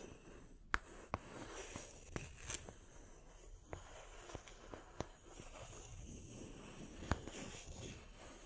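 Long nails scratch the bark rim and cut face of a small, solid round wood slice with a bark edge, held in one hand, and two slices are briefly stacked. Soft, dry scraping and rustling runs throughout, broken by several sharp, short clicks and taps.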